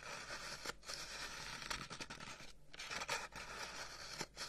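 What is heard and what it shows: Fingernails scratch along the end and side of a long, hollow, carved wooden incense box held up close. The result is a steady, bright, raspy scraping texture with a few brief pauses and slight changes in stroke.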